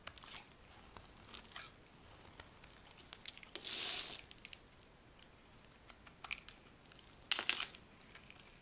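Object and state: Dry bar of soap being shaved.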